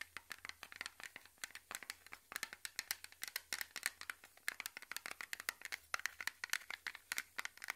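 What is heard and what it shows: Fingernails scratch and tap along the lid and sides of a small, round, closed blue metal cream tin held in both hands. The result is a steady stream of dozens of quick, dry, bright clicks and scrapes, centered in the upper mids with a brittle high edge. Each hit is sharp and stops almost instantly, with no ring or low body.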